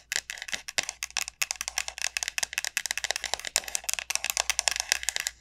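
Long nails rapidly tap and scratch the hard, hollow shell of a large, elongated dried bottle gourd. The result is a dense stream of crisp, bright clicks and scrapes with almost no low end. Each tap dies away instantly.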